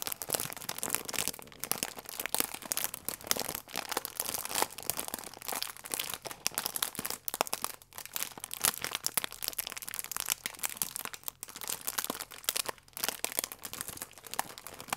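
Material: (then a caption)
Plastic. A printed soft plastic flow-wrap bag with a croissant inside is held in both hands while fingertips and long nails squeeze and rub the plastic. It produces dense, continuous crinkling with sharp crackles, bright and high-pitched with almost no low end. The crackles are short and dry, with no ring after each one.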